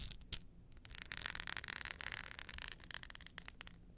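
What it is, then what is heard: Glitter-coated hard clutch, scratched surface. Long nails rub and scratch across the rough glitter surface of a glitter hard-shell clutch with a metal frame lying flat. The result is a dense, bright, gritty rasping that swells through the middle and breaks into quicker scratchy strokes toward the end, with little low-end body.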